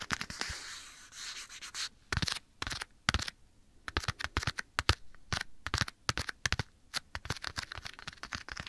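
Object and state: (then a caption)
Leather glove tapped and scratched. Bare fingertips and short nails tap and scratch across a small, soft, hollow black leather glove held right next to the right ear of a binaural microphone. A continuous, bright scratching rub fills the first two seconds, then gives way to a rapid, irregular run of crisp, dry taps with short rustles between them.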